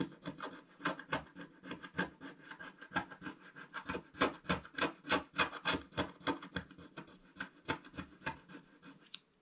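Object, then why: Black-coated scratch-art paper and wooden stylus. A wooden stylus scratches the coating off a flat, black-coated scratch-art paper page in a quick, fairly steady run of about thirty short strokes, roughly three to four per second. Each stroke is a dry, raspy scrape with a midrange body and a bright edge, ending with a brief, lighter scratch.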